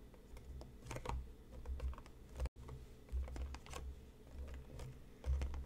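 Fingertips and nails tap the top and sides of a hollow printed cardboard tea box resting on a cutting mat. The result is a quick run of soft, hollow taps and light clicks over a low, rumbling thud. A brief silent dropout falls midway through.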